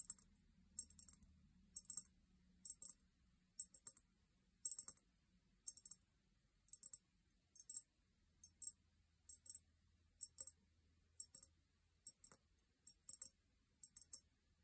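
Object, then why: Small cut-crystal glass vase. A small, empty, hollow cut-crystal glass vase is held in both hands and tapped with long painted nails. Quick clusters of bright, high clicking taps come in short bursts with almost no ring after each, over a faint low hum.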